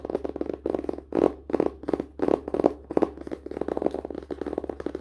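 Fingers tap quickly on a book, producing rapid bursts of dull, mid-pitched taps that stop almost instantly. A steady low hum runs underneath.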